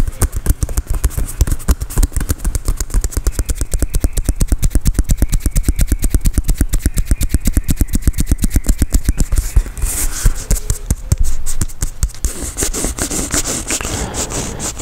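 Fingertips and nails tap and scratch a full-size, inflated, hollow Adidas soccer ball with a synthetic leather surface, held right next to the mic. Rapid, steady tapping produces deep, hollow thumps that die away almost instantly. Near the end, brighter scratching sounds on the surface blend in with the taps.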